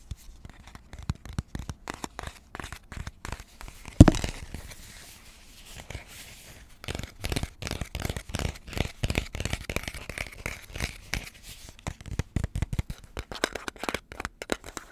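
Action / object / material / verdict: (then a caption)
scrape / cardboard composite chip tube with metal rim / cardboard / none. Fingertips and nails scratch and tap the printed side of a red Pringles can, a hollow cardboard composite tube about 25 cm tall with a metal rim and plastic lid, held in the hands. Rapid, dense tapping and scratching gives a low, hollow, papery crackle, with one sharper, louder knock near the 4-second mark. A quieter, softer scratching stretch follows before the busy tapping picks up again.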